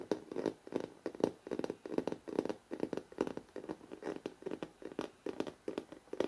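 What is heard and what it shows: Fingertips tap and scratch rapidly on the glossy paper front cover of a large, solid hardcover photo book. Quick, dry, hollow knocks sit around a mid-low pitch near 420 Hz, with brief bright scratchy edges. The taps come in a steady, fast series, each dying away almost instantly.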